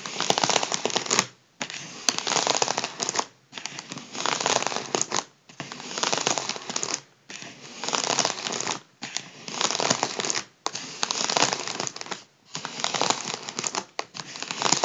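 Fingertips tap and rub the crinkly surface of a large, partly deflated and hollow gold mylar foil balloon. Bursts of dense, bright crinkling and scratching come in repeated stretches with brief silent gaps between them, with almost no low end.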